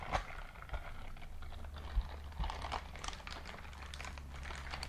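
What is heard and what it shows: A white silicone dishwashing scrub glove is held close up in a clenched fist while its bristles are squeezed and rubbed together. The result is quiet, soft crinkling and squeaky rubbing with small ticks over a steady low hum.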